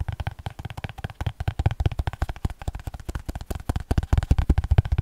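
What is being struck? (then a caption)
Paper spiral notebook page edges. Fingernails tap and scratch the edges of the page block of a small paper spiral notebook. About thirty quick, uneven taps come in a rapid, irregular stream, each a short dry thud with a deep, muffled body and a faint papery scratch on top. The level builds toward the end.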